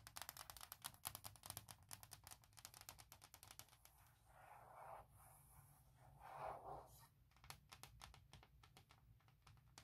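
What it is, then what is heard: Hard plastic laptop case. Long red-black nails and fingertips tap and scratch fast across the flat surface of a thin, hollow, forest-pattern hard plastic shell case fitted on a MacBook Pro 16" laptop. Dense, rapid clicky taps give way midway to softer swelling scratches around 4–7 seconds before the quick tapping returns.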